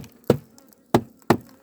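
Three dull, short knocks are struck on a wooden beehive being prepared for transport, each a low, hollow thud that dies away almost at once with no ring. The flat, dead sound marks the hive as rotten, with weak spots that bees could escape through and that need plastering with mud before loading.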